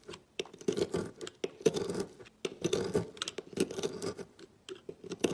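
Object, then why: Bar of soap cut with a knife. A knife blade cuts and scrapes flakes off a solid green and yellow marbled soap bar resting over a pile of shavings. Dry, crackly scraping comes in irregular short strokes with brief pauses between them. The strokes carry a crisp, bright edge and a firmer mid-range body.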